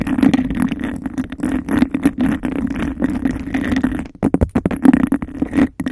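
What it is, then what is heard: Textured glass cup scratched and tapped. Long nails rapidly scratch and tap a clear textured glass cup held over the mic. The hollow cup gives the dense, fast scraping a boomy resonance centered low in the mids. Near the four-second mark the scratching briefly thins out, then returns as sharper, more separated taps.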